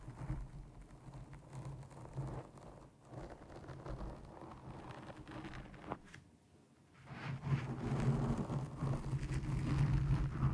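Long nails and fingertips scratch and grip a black foam windscreen over a microphone, making dense, muffled rustling and scraping that sits almost entirely in the low end. The scratching dips nearly silent for a moment partway through, then returns louder and fuller to the end.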